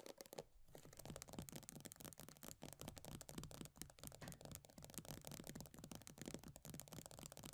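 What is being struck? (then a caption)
Plastic cosmetic tub. An upside-down plastic body butter tub with a pale green base and paper label is tapped and scratched by long nails. Fast, continuous tapping and scratching give a dense run of dry clicks over a low hollow thump. Bright scraping rides on top throughout.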